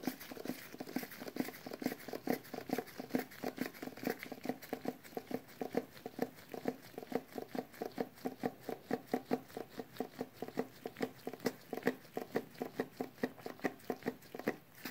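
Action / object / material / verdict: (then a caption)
tap / small metal tin can / metal / none. A small cylindrical metal tin with a printed paper label is held upright in both hands while latex-gloved fingertips tap and scratch its metal lid and sides. The result is a quiet, steady patter of short, dry metallic taps, about two per second and somewhat uneven, centered in the low mids around 460 Hz with faint scratchy texture between them. Each tap dies away almost instantly.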